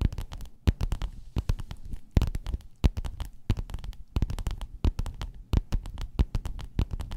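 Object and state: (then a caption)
Faux-leather pillowcase scratched and tapped with nails. Long nails scratch and tap across a folded gold metallic croc-embossed faux-leather pillowcase lying flat. A rapid, uneven stream of dozens of short, dull taps with faint scratchy clicks, mostly low and muffled, each dying away almost instantly.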